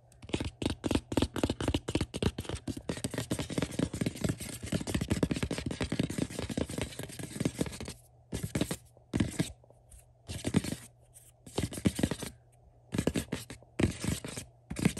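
Fingertips and short nails quickly scratch and tap the glossy gold top and blue printed side of a hollow, rectangular cardboard Star Trek: The Next Generation DVD box set. For about eight seconds there is dense, rapid, dry scratching and tapping. After that it breaks into short bursts separated by brief silences.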